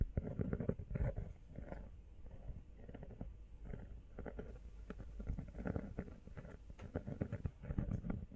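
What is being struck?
Rubber phone case.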